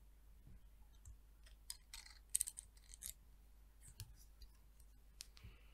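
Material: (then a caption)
Wood. Long nails flick and click against the fine teeth of a solid, light-wood peach wood comb and tap its spine. Quiet, sharp, bright clicks with almost no ring come in scattered bursts over a low, steady hum, with the loudest cluster in the middle.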